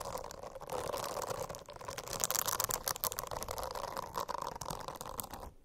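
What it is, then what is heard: Silicone bristle cover scratched with nails. Long acrylic nails scratch across the dense small bristles of a rainbow-striped silicone notebook cover. The result is a steady, soft, crackly rustling that runs throughout, made of many quick bright ticks over a broad hiss. It fades out at the end.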